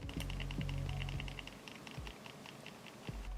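A Logitech G302 plastic gaming mouse is shaken with its buttons and DPI switch held in, producing a quick, fairly regular run of light clicky rattles over a steady low hum. The rattle is sensor rattle, noticeable but milder than a G303's.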